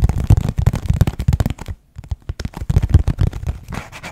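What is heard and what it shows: Fingertips quickly rub and scratch the printed surface of a dark, hand-sized Kleenex tissue box made of hollow thin cardboard, held close to the mic. Rapid, dense scratching bursts carry a hollow, low thumping body with brief papery crackle on top. The scratching stops for a moment just before the 2-second mark, then picks up again at the same fast pace.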